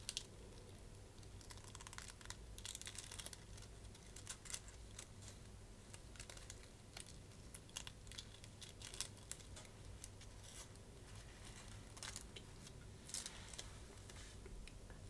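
Long fingernails scratch and squeeze the hollow loops of a small, shiny metallic plastic foil-ribbon gift bow held in the fingers. The result is a quiet, steady run of rapid, bright crinkling and scratchy ticking with short, sharp crackles, over a low, constant hum.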